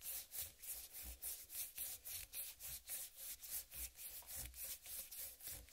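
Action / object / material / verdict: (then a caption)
scrape / whole watermelon rind / watermelon rind / none. A large, whole, uncut watermelon with a green striped rind is rubbed with palms and fingers and slowly scratched with long nails. Steady, rhythmic strokes of bright, dry scratching rise and fall about three to four times a second, with a soft low thump beneath some of them.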